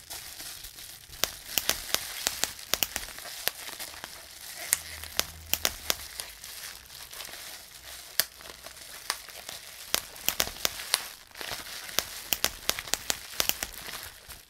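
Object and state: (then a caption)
Plastic bubble wrap being popped. A clear plastic bubble wrap sheet with air-filled bubbles is bunched and squeezed between both hands while fingertips squeeze and pop the bubbles. A steady, bright crinkling rustle runs throughout, broken by many sharp, dry pops that stop instantly, spaced unevenly with bursts grouped close together.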